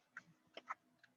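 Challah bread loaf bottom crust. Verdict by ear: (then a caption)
Hollow. Knuckles knock on the hard bottom crust of a challah loaf fresh from the oven, giving four short, dry taps with almost no ring. The taps sound hollow, showing the bread is baked through.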